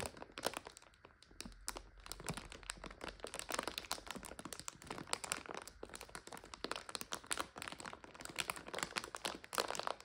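Fingertips with long nails squeeze and crinkle a full, clear plastic bag of dry egg noodles from the top. Dense, rapid crinkles and sharp crackles run throughout, bright and crisp, with many short, dry bursts that stop almost instantly.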